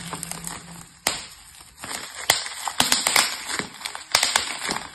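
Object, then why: Plastic bubble wrap. Clear plastic bubble wrap with hollow air-filled bubbles, wrapped over a plastic box lying flat on a table, is pressed and pinched by both hands with fingertips and yellow painted nails. Bright, sharp pops burst out over a soft, crinkly rustle, some singly and some in quick clusters. Each pop cuts off almost at once.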